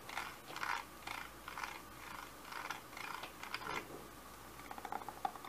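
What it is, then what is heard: Plastic handheld vacuum tapped and scratched. A medium-size Bissell handheld vacuum with a grey body and a hollow clear plastic dust canister is tapped and scratched with fingertips and short nails. Soft, hollow plastic scratching comes in short bursts, followed by a few lighter taps near the end. The sound stays quiet, dry and mid-toned, with little low end.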